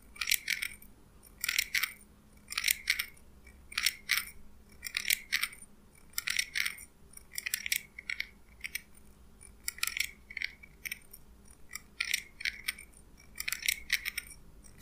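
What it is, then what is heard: Steel scissors opened and closed. A small pair of steel scissors is held in the hand while the blades are opened and closed so they slide and clink against each other. Short bursts of bright metallic snipping and scraping, centered around 2.3 kHz with high hiss above, repeat irregularly throughout. A faint low hum sits underneath.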